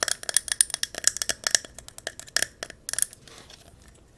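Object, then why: Glass candle jar filled with wax. A silver mercury-glass jar filled with yellow candle wax is held tilted and tapped and scratched on the glass with long nails. About 17 fast, irregular, bright clicking taps come in quick bursts with very little ring, followed by a softer scratching stretch and one final tap.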